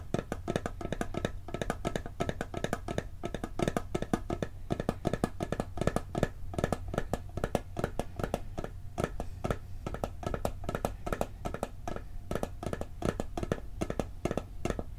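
A hollow, round blue steel cookie tin is held and tapped rapidly on its lid and rim with fingertips and nails. The result is a steady stream of short, dry metallic taps with a low, hollow body around 148 Hz and faint brighter ringing tones that die away almost instantly.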